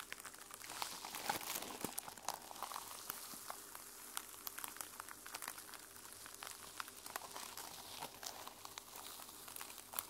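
A notebook held in the hands, a mermaid sequin-covered journal, has its plastic sequin cover scratched with long nails. The result is a steady, quiet, bright crackling with rapid clicky ticks and almost no low end, continuing throughout.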